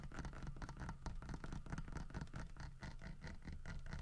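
Fingertips and nails scratch along the grooved, carved surface of a large solid carved wooden bear figurine with a fish in its mouth. The result is a quiet, steady run of rapid, slightly uneven scratchy strokes, each with a dull low body and a brief bright rasp that dies away almost at once.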